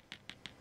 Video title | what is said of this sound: Hochanda TV - The Home of Crafts, Hobbies and Arts Live Stream | Your shrink plastic sets hard, so that's, you can hear me knocking on there, which is brilliant.